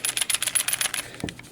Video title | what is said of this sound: [Francais] Revue Video pour Newage XM-1 Mista | les orteils sont en métal, elles se cognent une sur l'autre et ça fait un petit son de clochette